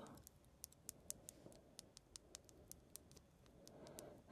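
A long fingernail taps and clicks on the surface of a small, round, clear glass dome pendant with a pink flower inside, held up by its chain. About nineteen sharp, bright ticks sound over a soft, low, rustling background, each one dying away at once. The pendant sounds solid.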